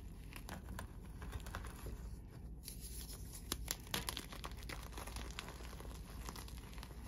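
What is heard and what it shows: Fingers snap solid white gym chalk slabs into pieces, crush the fragments in chalk powder, then pour them. Dense, dry crumbling and crackling with sharp snaps play over a steady low rumble.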